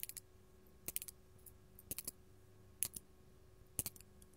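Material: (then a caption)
Glass. Long gold metal claw nails tap a large, solid, faceted purple artificial glass crystal gem held in the hand. The result is quiet, bright, clicky taps in quick small clusters with brief pauses between them. Each tap dies away almost instantly, over a faint steady background hum.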